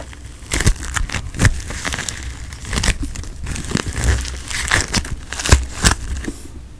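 A palm-sized handful of bright pink floam, small polystyrene foam beads in a solid, squishy putty, is squeezed and kneaded between fingertips and thumbs near a microphone, with no brush used. It gives crunchy, crinkling crackles in short, bright bursts over a soft, low rumble, rising and falling as the putty is worked.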